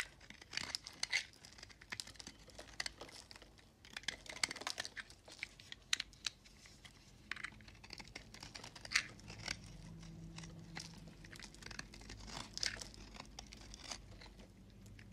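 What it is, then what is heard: Recycled soap bar being scraped. A hand-sized, solid peach-and-white recycled soap bar is held in one hand while a metal box-cutter blade with a red handle scrapes and shaves flakes off its edge. Many quick, dry, bright scraping and crinkly shaving strokes follow one another, with short sharp peaks over a low, steady background hum.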